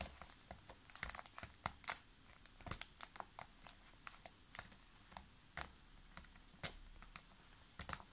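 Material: Plastic.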